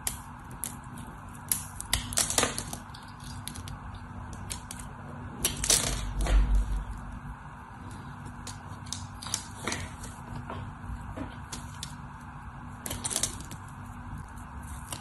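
A solid white soap bar held in the hand is carved and scraped with a craft knife. Irregular, crisp scraping and clicking cuts come in bursts, with the loudest clusters near 2, 6 and 13 seconds. A steady low hum runs underneath.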